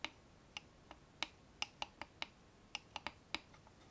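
Long fingernails tap twelve times on the sides and front of a small, hollow dark-brown wooden box with a metal clasp on the front, held in both hands. Each tap is a short, bright click with almost no ring, spaced irregularly over a quiet background.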